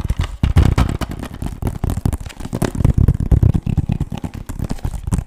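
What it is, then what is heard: Plastic game case. Fingertips and nails tap fast on the front of a hollow, hard plastic PS3 game case for Call of Duty MW3 with a clear sleeve. The result is a dense, continuous run of quick, dull, low-pitched knocks that die away almost instantly, with no ringing.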